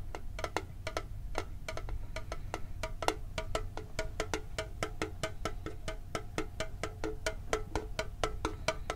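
A hollow, red and blue printed metal Pokemon card tin with its lid is tapped with fingertips and nails in a steady run of quick, light taps. Each tap gives a short, hollow metallic tick with a faint ring around 440 Hz and bright clicky edges over a low background rumble.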